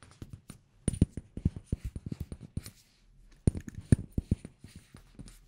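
A small amber glass cosmetic bottle with a black cap and white label is held in one hand while fingertips and nails tap its glass and cap. The result is a quick, irregular run of short, dry taps with a low body, mostly clustered bursts separated by a brief pause.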